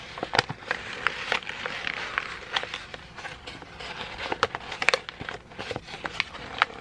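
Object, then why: Thin paper sheet. A crumpled sheet of thin white printer paper is rubbed and crinkled with fingertips. A steady dry rustle runs throughout, broken by about twenty sharp, bright crackles that stop instantly with no ring. There is almost no low end.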